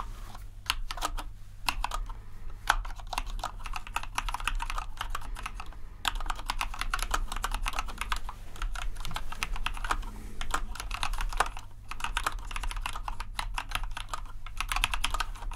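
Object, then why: Plastic mechanical keyboard. A compact white plastic mechanical keyboard with RGB backlighting and a knob is typed on quickly with the fingertips of both hands. A dense, steady stream of short, sharp key clicks with little ring runs over a constant low hum.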